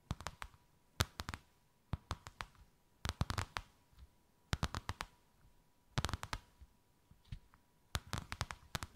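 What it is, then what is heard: Embossed faux leather sheet. Long white acrylic nails tap and scratch a thin white faux-leather sheet with a snakeskin emboss, draped over something rounded. Quick clusters of sharp, dry clicks come in bursts about once a second, each dying almost instantly, with soft scratching between them and a faint steady tone in the background.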